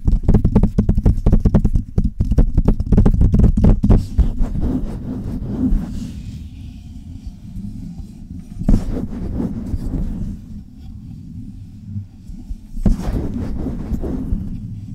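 Long red nails tap and scratch the hollow metal mesh grille and cylindrical body of a silver Blue Yeti-style microphone. A fast, dense run of close, bass-heavy taps fills the first four seconds, then gives way to softer rubbing and scratching. Occasional sharper taps break through around the middle and near the end.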